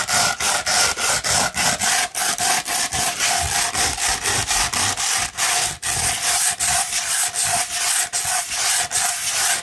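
Long red nails scratch quickly across a rolled tube of 240 grit sandpaper. It makes a steady, bright, gritty rasp broken into rapid, slightly uneven strokes with brief dips between them, and almost nothing in the low end.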